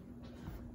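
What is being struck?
Nothing is struck.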